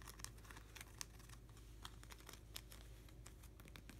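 Fingertips and nails scratch and tap along a plastic nine-pocket sleeve page of hockey cards in an open binder, running over the sleeves and card edges. A steady stream of quiet, bright crinkles, scratches and sharp little ticks rides over a low, constant hum, with a few crisper taps standing out.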